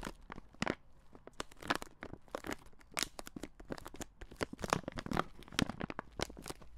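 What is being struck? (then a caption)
Plastic-film candy bag. A red plastic-film Skittles bag with candy inside is crinkled and rubbed between the fingers in front of a microphone. Dense, crisp crackles and crunches fire in rapid, uneven bursts, each a sharp, bright snap that dies almost instantly over a faint low rumble.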